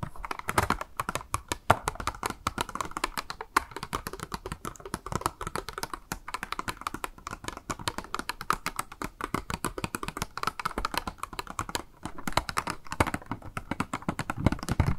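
Long nails rapidly tap a small, hollow, clear pink plastic blister package with a makeup sponge inside, held in the hand. The result is a continuous stream of quick, dry, clicky taps with a hollow mid-range tone around 700 Hz that stop almost instantly, running steadily through the whole clip.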